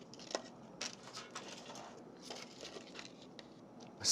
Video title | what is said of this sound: Eddie Jackson's Red Ale Onion Rings and Jerk Ketchup - Food Network | you can hear how crispy they are